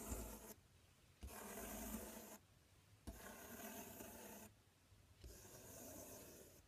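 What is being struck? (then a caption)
Corrugated cardboard box. Fingertips scratch and rub along the front panel of a large, empty, open corrugated cardboard box. Four separate bursts of dry, broadband rasping scrape are heard, with quiet gaps between them.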